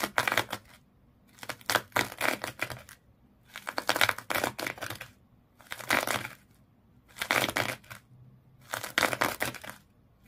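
Long nails scratch hard across the coils of a small fish toy wrapped in colored twisted sisal or jute rope. Six bursts of dry, raspy, bright scratching are separated by short quiet pauses, and each stroke stops dead with no ring.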